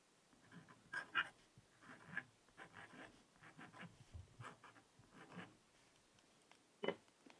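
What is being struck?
Coated scratch-art paper notepad scratched with a wooden stylus.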